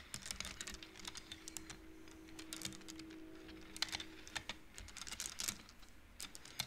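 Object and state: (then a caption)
Wooden bead abacus. Long painted nails and the fingertips of both hands slide and flick the painted wooden beads on the metal rods of an upright wooden-frame abacus, so the beads click against each other. The result is a quick, irregular run of short, dry, bright clicks and light rattles that die away almost instantly. A faint steady low hum sits underneath for most of the clip.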